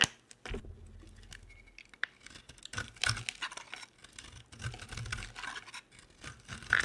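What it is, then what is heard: Dry bar soap being shaved. A utility knife blade scrapes and shaves dry flakes from a hand-sized, solid, oval pink soap bar with round holes. Crisp, bright scratching and tearing strokes come in uneven bursts, with small flaky crackles between the louder passes.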